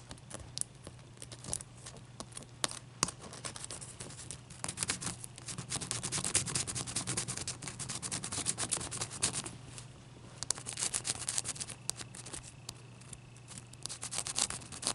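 Long nails scratch and tap the top and sides of one solid clear ice cube resting on a towel. Bright, crisp scraping runs throughout, peppered with sharp, quick taps, and grows denser and louder in the middle before easing off. A faint steady low hum sits underneath.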